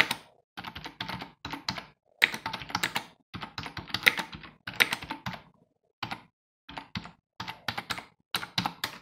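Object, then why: Plastic computer keyboard. A full-size, hollow black plastic computer keyboard resting on a wooden desk is typed on with the bare fingertips of both hands. Bright, clicky key taps come in quick bursts separated by short pauses, each tap dying away almost instantly.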